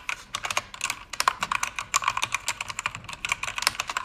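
Fast typing with fingertips and long red nails on a pink-backlit mechanical keyboard with plastic keycaps. Dense, bright, crisp key clicks with almost no low end and a very short ring. The clicks land in rapid, uneven runs.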